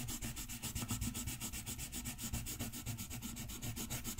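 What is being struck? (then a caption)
Wooden colored pencil on a paper sheet. A green wooden colored pencil shades a green area of a thin paper coloring page on a white desk with fast back-and-forth strokes. The other hand holds the sheet in place. The result is a steady, quick scratchy rubbing with rhythmic strokes, low body and a bright hiss.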